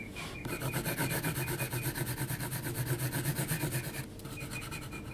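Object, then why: Graphite pencil on heavy textured paper sheet. A graphite pencil held flat is rubbed back and forth across a large flat sheet of heavy textured mixed-media paper, shading it. Quick, rhythmic strokes make a dry, grainy rasp with a bright hiss, over a steady low hum. The strokes ease off into a quieter rub near the end.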